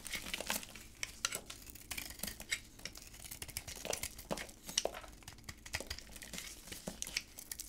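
A utility knife held in black-gloved hands scrapes the shiny magenta coating off a hard white bar of soap and cuts into it. The result is a dense run of quiet, dry, crisp scratching and crinkling sounds, with many short bright ticks and no ringing.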